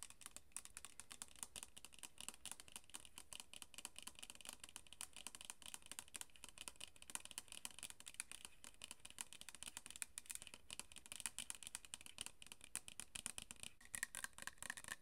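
A tall, hollow rose-gold pump bottle with a pink label, metallic-finish plastic, is held up in both hands and tapped rapidly with long pink nails. The result is a steady, dense stream of quick, crisp clicking taps with a bright, high edge and very short decay, continuing throughout.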